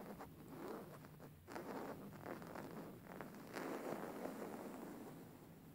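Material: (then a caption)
Linen. Fingertips and nails scratch and rub a plain beige woven linen cushion held upright. A soft, continuous scratchy rustle swells in several brief bursts with a low, dull fabric texture.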